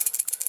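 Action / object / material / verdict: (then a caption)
shake / refrigerator compressor start relay / plastic / dead. A refrigerator compressor start relay is shaken, making a quick, dry, high-pitched rattle in short repeated bursts with almost no low end. The rattle shows the relay is bad and dead.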